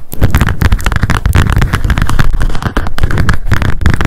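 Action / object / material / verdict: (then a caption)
tap / spiral-bound paper memo notebook with card cover / paper / none. Long decorated acrylic nails tap rapidly on a small pink m.memo spiral-bound paper notebook with a card cover and a solid stack of pages, held in the hands. The result is a dense, continuous patter of quick, dull, low-pitched thuds with very short decay.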